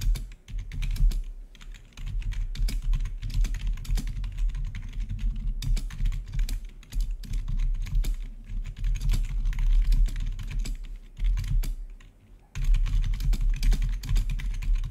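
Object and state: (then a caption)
Plastic gaming keyboard being typed on. Fingertips of both hands type rapidly on the keycaps of a full-size black plastic membrane-style gaming keyboard with blue-to-red RGB backlit keys. The result is a dense, continuous stream of soft clattering keystrokes over a heavy low rumble, with brief lulls around 2, 7 and 12 seconds before the typing resumes.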